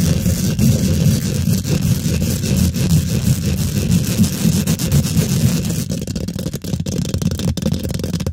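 Long pink glitter nails on both hands scratch fast and aggressively across a hollow steel wire-mesh microphone head. The result is a dense, continuous rumbling scrape, heavy in the low end, with sharp crackling clicks becoming more distinct toward the end.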